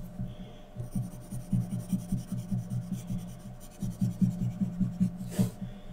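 A graphite pencil scratches fine detail strokes around the eyes and mask of a drawing on a thin sheet of white drawing paper resting on a flat surface. Soft, rapid, loosely rhythmic scratching strokes sit over a steady low hum, with one brief brighter swish near the end.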